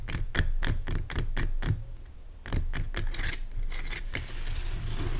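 Fingernails scratch the sides of a large, pale rock salt lamp made of solid, rough crystal. Quick, bright scratchy strokes rasp across the surface, each with a short dull thud underneath. After a brief pause the scratching picks up again and settles into a steadier scraping.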